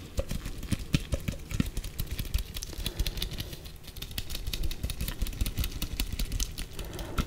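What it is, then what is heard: Plastic tape measure. A yellow plastic Stanley 8 m tape measure case, a hand-sized hollow housing with the metal tape inside, is held close in black nitrile-gloved hands and tapped repeatedly with gloved fingertips. The result is a rapid, continuous stream of short, dry, hollow knocks with a dull low body and light bright clicks on top.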